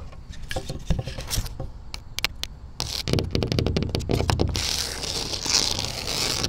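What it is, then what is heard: Textured wood-grain siding panel. Long matte black acrylic nails tap and scratch a large, flat, mounted panel of tan exterior wall siding with a wood-grain texture, likely engineered wood. Sharp, bright clicks come first in scattered bursts, then quicken into dense tapping before giving way to a continuous, hissy scratching over a low rumble.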